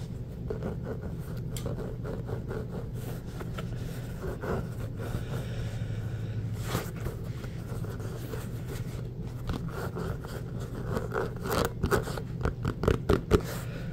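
Fingertips and nails scratch across the surface of an inflated, hollow orange Spalding rubber basketball. Soft, dry scraping rasps sit over a steady low hum throughout. Sharper, louder scratches and taps come in bursts toward the end.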